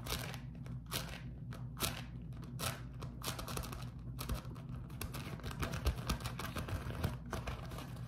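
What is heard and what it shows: A beeswax-coated cotton food wrap is held close and waved and crumpled by fingers. It makes a steady run of dry crinkling and crackling bursts over a constant low hum.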